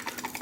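An aftermarket 18V cordless tool battery pack is shaken, and loose broken parts inside give a quick, light rattle of small clicks with a bright ring around 880 Hz and almost no low end. The rattle shows the pack's internals have come loose, a sign it is faulty.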